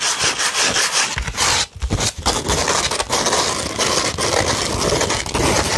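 Long red nails scratch across a slightly curved, flat beige sheet of 100-grit sandpaper. The result is a dense, gritty rasping with bright, hissy texture. It runs almost continuously, with brief pauses near the 1.7- and 2.2-second marks.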